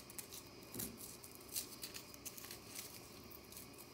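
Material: Compressed powder.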